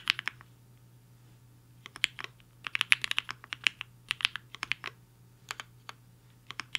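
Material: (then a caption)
Plastic. A compact mechanical keyboard with a black case and white and pink plastic keycaps, resting on a desk mat, is typed on quickly with the fingertips of both hands. Bright, sharp clicks come in fast bursts with short pauses between them, and each keystroke snaps off almost instantly over a faint low hum.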